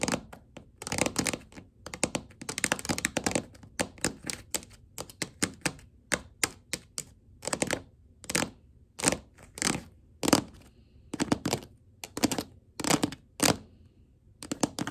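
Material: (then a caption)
Laminate. Long gold glitter acrylic nails tap and scurry across a flat wood-grain laminate floor. Dense flurries of quick, bright clicks give way to sparser, separate sharp taps. Each tap dies away almost instantly.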